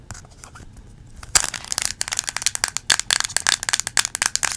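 Long acrylic nails tap and scratch a small yellow plastic Play-Doh tub closed with a green lid. Soft, faint scratching gives way to a sharp tap, then a quick run of about twenty crisp, bright clicks and scrapes with almost no ring or low end.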